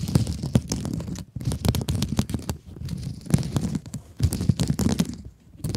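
Long acrylic nails scratch and rub across the textured mesh of a hand-sized blue mesh-covered scrub sponge. The result is a dense, crackly scratching and rustling with a heavy low-end rumble and quick bright ticks. Short quiet gaps break up the strokes between bursts.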